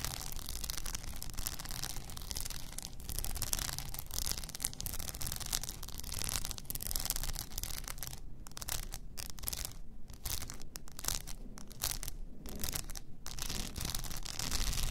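Long nails scratch an upright blue rhinestone-covered tumbler along its body and its frosted plastic lid. The result is a steady, dense rasping and rubbing with bright, gritty texture over a low rumble. In the second half, the scratching briefly pauses between strokes.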